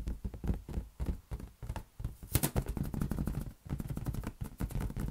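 A large, hollow, inflated green latex balloon is tapped and patted with the fingertips in quick, uneven bursts. Each touch gives a short, dull, hollow thump that is deep and boomy with almost no brightness, dying away almost at once. A few sharper taps near the middle add a brief bright edge.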